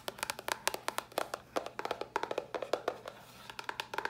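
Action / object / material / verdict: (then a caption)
tap / small cardboard box / cardboard / none. Long nails tap quickly across a small, hollow white cardboard box, about 25 short, dry taps in an uneven rhythm. Each tap is a crisp click with a hollow midrange knock and a bright edge that dies away almost at once. The tapping eases to softer taps for a moment near the end before picking back up.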